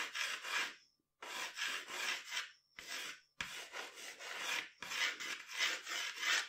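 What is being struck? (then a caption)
Graphite pencil on drawing paper. A graphite pencil is rubbed in long strokes across a flat sheet of drawing paper on a table, drawing the outline of hair. The result is a dry, bright, raspy scratching that comes in bursts of strokes separated by short silent pauses.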